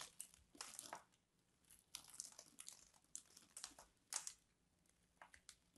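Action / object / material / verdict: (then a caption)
scrape / bar of soap / soap / none. A craft knife scrapes a solid purple bar of soap held in both hands, and thumbs snap off the scored chunks. Quiet, bright, dry crunching and crumbling comes in short bursts with brief pauses between them.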